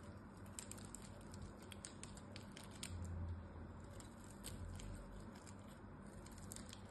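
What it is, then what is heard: Bar of soap being shaved. A small blade scores and shaves the surface and edges of a solid blue bar of soap. Quiet, irregular scraping and crisp high ticks repeat quickly over a low, steady rumble that swells briefly around the middle.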